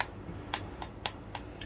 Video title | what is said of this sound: Realme Buds Air 2 Neo, Lengkap Tapi Rasanya Kurang | ada suara kedua gitu suara plastik kedua setelah ini permukaan yg didalamnya juga dan berbenturan kedengeran banget